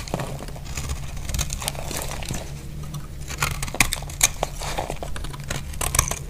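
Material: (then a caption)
Soap. A utility blade carves shavings off a solid, dry lilac soap bar, making a series of dry, crisp scraping and crackling cuts with bright edges. The cuts sit over a steady low hum and grow sharper and louder in the second half of the clip.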